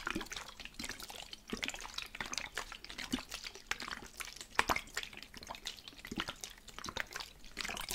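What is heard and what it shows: A medium plastic spray bottle, partly filled with teal liquid, is held at its right side and shaken by hand. The liquid sloshes inside the hollow bottle in quick, bright splashes and drips, with continuous, mostly high-pitched wet rattling throughout.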